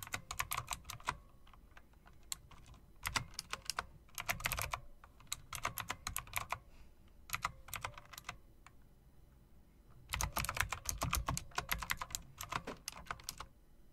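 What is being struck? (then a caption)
Plastic and metal typewriter-style mechanical keyboard. Fingertips with long dark nails type and tap on a backlit, plastic and metal typewriter-style mechanical keyboard with round plastic keycaps set in metal-look rims. Bursts of sharp, bright clicks with a low thock underneath come in quick runs, separated by short quiet pauses. Each click stops almost at once.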